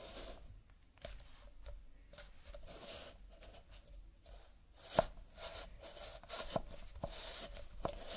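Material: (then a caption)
Paper. Fingertips of a fingerless-gloved hand tap and rub the printed paper surface of a stack of nested empty cardboard cups lying tilted on a table. Soft, dry taps with a brief hollow ring mix with scratchy, bright rubbing and rustling. One tap near the middle stands out louder than the rest.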